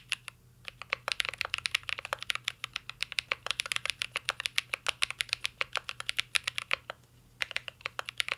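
Fingertips type steadily on a mint-green Cyberboard R3 mechanical keyboard with plastic keycaps and a metal case. About 57 short, bright, clacky key taps come in a quick, uneven stream, with a brief pause near the seven-second mark before typing resumes. The clicks stop dead with almost no ring over a faint low hum.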